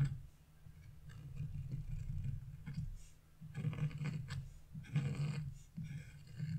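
A thin metal chisel scrapes a small leaf shape into a flat, black-coated scratch-off art page, producing a rasping scratch. Short strokes rise and fall over a steady low hum, with brighter, grittier bursts of scraping toward the middle and end.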